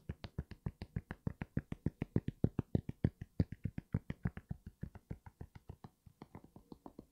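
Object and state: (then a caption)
Knit sneaker with foam sole. Fingertips and nails tap repeatedly on the foam sole and heel area of an empty grey NMD sneaker with a knit upper, held upright. About 47 quick, dry, low thuds come in a fast, uneven rhythm with almost no ring, with a few soft clicky edges on some taps. The taps ease off slightly toward the end.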